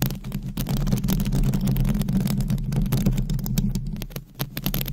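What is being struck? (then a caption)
Metal mesh microphone grille. Long blue acrylic nails scratch over the hollow, dark metal mesh grille of a microphone head. The result is a dense, steady, low rumbling scrape made of fast, loosely regular strokes, with a brief drop in level just past four seconds before the scratching resumes.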